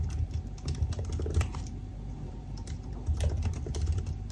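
Fingertips type steadily on the black plastic keys of a silver aluminium laptop, producing a quick run of soft key taps. The taps are muffled and low, with faint brighter clicks over a dull thudding base, and a few louder strokes stand out.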